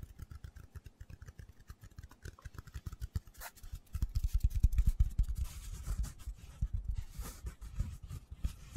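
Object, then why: Small foam cylinder. A hand-sized black foam cylinder with a center hole, possibly a windscreen, is held in both hands and quickly tapped and scratched with fingertips and short nails. The result is a rapid, uneven patter of soft, dull, low thuds with brief scratchy rasps, growing louder and denser around the middle before easing off.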